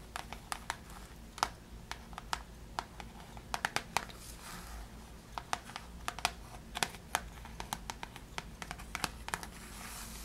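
A flat rectangular pink cardboard praline box with a ribbon and cellophane plastic wrap is held in hand while long decorated nails scratch and crinkle the wrapped surface. Quick, sharp, bright ticks and crisp crinkles sound irregularly over a soft, steady low hum, each dying away almost instantly.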